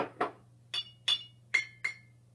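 An empty glass jar is tapped several times for comparison with a full jar, giving short, bright clinks with a brief ring. The later taps settle on a high tone near 2.2 kHz; with no water inside, the jar vibrates faster and sounds a higher pitch.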